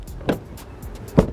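Two short, dull knocks on the sheet-metal rear door of a Hyundai Bayon give low, thudding sounds with almost no ring. The door is very light, yet unlike other cars it does not sound very hollow.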